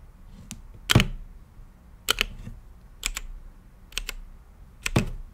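Fingertips type on a blue-lit mechanical keyboard with plastic keycaps and a clear acrylic case. Sharp, bright key clicks with a low thock underneath come in five short bursts spread across the clip, each dying away almost at once.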